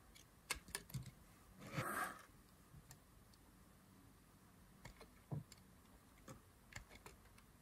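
A thin blade carves a solid green dry soap bar, peeling off thin slices. Quiet, crisp carving strokes come in short, dry clicks, with one longer, brighter scrape around two seconds in.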